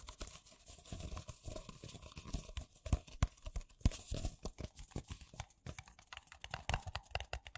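Two identical empty white paper coffee cups with a printed "Coffee" logo, hollow and thin-walled, are held in both hands and tapped and knocked with fingertips and nails, with some rim-to-rim contact. The result is a fast, irregular stream of short, dry taps with hollow low thumps and a crinkly, bright papery edge, each hit dying away almost instantly.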